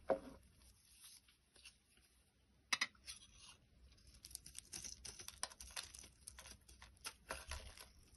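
A box cutter blade shaves the surface of a solid orange bar of soap held in the hand. Quiet, dry, crisp scraping and cutting strokes crackle with a bright, papery texture. A sharper scrape lands near the start and another near the middle, followed by a denser run of irregular shaving sounds.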